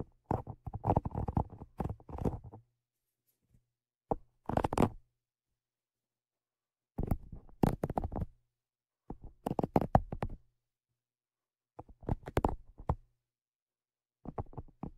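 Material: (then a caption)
Metal mesh. Tweezers tap and scratch the mesh grilles of the Zoom H5's metal X/Y microphone capsules. Bursts of dense, dry scraping and rapid tapping, heavy in low rumble with a steady hum underneath, are separated by stretches of silence.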